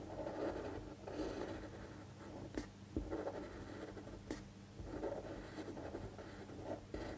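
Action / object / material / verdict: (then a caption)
scrape / pen tip on a paper sheet / paper / none. A fine-point pen tip scratches across a thin white paper sheet lying flat on a table while tracing handwriting, with the other hand holding the sheet flat. Soft, dry scratching strokes come in rhythmic bursts over a faint steady low hum, broken by four brief, sharp ticks of the pen.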